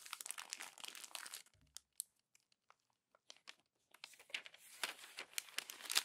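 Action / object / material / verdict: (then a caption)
scrape / glossy paper magazine page / coated paper / none. A hand crumples a page of a glossy paper magazine into a wad and turns to the next page. Dense, bright crinkling gives way to a sparse stretch of soft ticks and rustles, then the crackling builds again. The sound is quiet, with almost no low end and very short, dry snaps.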